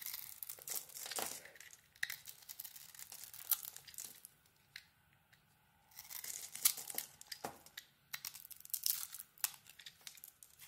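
A solid orange bar of soap with a red glitter coating is held in the hand and carved with a utility blade, shaving off chips. Quiet, bright scraping and crinkly tearing strokes come in bursts, with a near-silent pause midway before the carving resumes.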